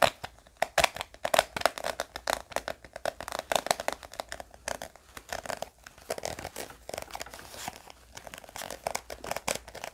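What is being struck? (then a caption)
Small round hard-plastic case. A small round pink hard-plastic gum tape case with a ridged edge is held in both hands and scratched and tapped with fingernails. Dozens of rapid, dry clicks and scratchy crinkles come in quick bursts, with a hollow plastic tone around 660 Hz and bright high edges. There is almost no low end and no ringing after each tap.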